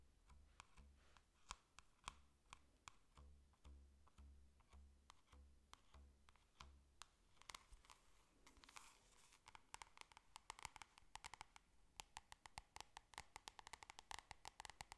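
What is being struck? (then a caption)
Glossy cardboard folder. A yellow glossy cardboard folder, held flat, is tapped on its cover with long nails and fingertips, giving quiet, sharp, bright clicks over a soft, steady low thumping pulse. Around the middle there is a brief scratchy rustle, then the taps become quicker and denser, with crisp nail clicks that stop instantly with no ring.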